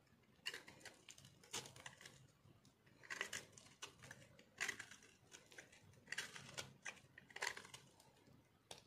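A small metal cutter blade shaves and carves crunchy flakes off a solid white bar of dried soap held in one hand. Quiet, bright, dry crunching and scraping comes in short bursts, with brief pauses between strokes.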